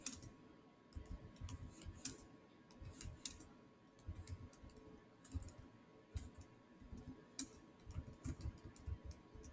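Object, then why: Plastic laptop keyboard keys. Fingertips type on the solid keys of a black plastic chiclet keyboard on a silver Samsung laptop. Quiet, irregular keystrokes produce soft, low thumps with short, bright clicks on top. A faint steady tone runs underneath.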